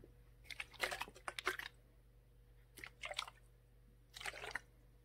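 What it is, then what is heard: Plastic water bottle tapped and scratched. Long nails tap and scratch the blue plastic cap, then the ridged plastic bottom, of a full clear plastic Core water bottle. Three quiet bursts of quick, dry, bright clicks and scrapes are heard, separated by near-silence over a faint low hum.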